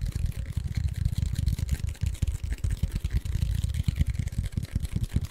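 A tall, hollow cardboard Pringles chip can with a paper label is held close and tapped and scratched with short fingertips and nails. The result is a rapid run of deep, hollow thumps centered low around 100 Hz, each dying away almost instantly, with faint scratchy texture above.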